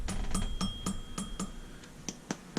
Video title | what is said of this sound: Bad Idler Bearing | This doesn't make that ting sound, so you kind of get rid of some of the harmonics and the weird noises